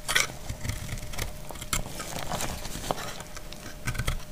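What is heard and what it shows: A solid dried white soap bar held in hand is shaved with a utility knife blade. The result is a steady run of dry, scratchy scraping strokes with bright crackling and crumbling over a low rumble, with a sharper crisp stroke near the start and a few near the end.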